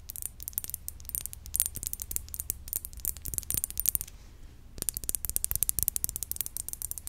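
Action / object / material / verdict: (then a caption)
tap / glass perfume bottle / glass / none. Fingernails tap rapidly on a glass perfume bottle, making dense bursts of sharp, bright clicks with almost no ring. The tapping pauses briefly just after the four-second mark, then resumes at the same quick pace over a low, steady hum.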